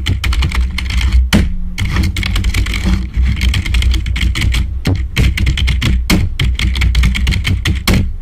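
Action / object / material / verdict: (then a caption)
tap / plastic membrane computer keyboard / plastic / none. Fingertips of both hands type fast on a black full-size plastic membrane computer keyboard. The result is a dense, continuous run of quick, overlapping key taps with bright, clicky tops, over a strong, steady low hum.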